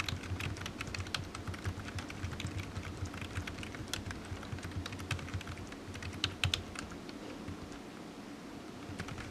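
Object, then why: Plastic computer keyboard. Fingertips of one hand tap the keys of a solid, black low-profile plastic computer keyboard resting on a desk mat, producing a steady run of quick, bright plastic clicks. The clicks ring briefly over a constant low hum, with a few louder taps standing out near the end.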